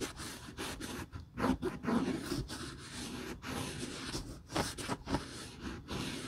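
A grey terry cloth rubs the glossy heel counter and welt of a single empty, hollow Hermès patent leather Chelsea ankle boot held by its heel in a gloved hand. The result is a quiet series of soft, dry rubbing and light scraping strokes, separated by brief pauses.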